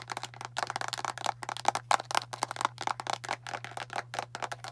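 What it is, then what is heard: Plastic deodorant stick container. Long nails tap and scratch on a hand-sized, hollow blue and clear plastic deodorant stick container with its cap on. About 25 quick, irregular dry clicks sound in under five seconds, with a hollow plastic tone near 800 Hz and brief scratchy textures between them. A steady low hum runs underneath throughout.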